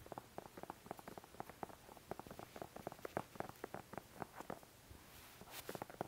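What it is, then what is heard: Plastic squeeze bottle. Fingertips tap and scratch the sides of a small, hollow white plastic glue squeeze bottle with an orange nozzle cap, held close to the mic. About two dozen quick, dry, hollow taps sound in an uneven patter with a mid-range tone, and near the end a brighter scratching rasp follows before a few final taps.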